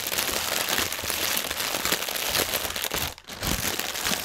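Fingertips and nails scratch and tap across a strip of inflated, hollow, air-filled clear polyethylene air cushions lying on a white table. The result is a steady, dense, bright crinkling with crackly texture, briefly quieting just past three seconds before the crinkling resumes.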